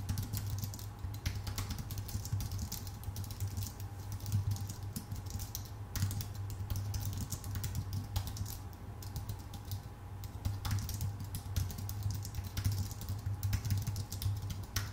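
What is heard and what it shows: Both hands type with their fingertips on a full-size white Apple Magic Keyboard with plastic keycaps on a thin aluminum body. The result is a steady stream of quick, soft clicks and taps with bright edges over a constant low hum.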